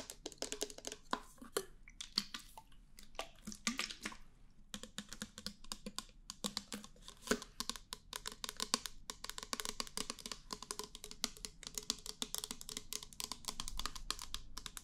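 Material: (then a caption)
Plastic. Long painted nails tap and scratch a small, hollow, clear plastic foam pump bottle with a pink pump top, which appears empty and is held in the hands. The result is a quiet, steady stream of rapid, bright, dry clicks and scratchy taps with almost no ring, pausing briefly around two and four and a half seconds.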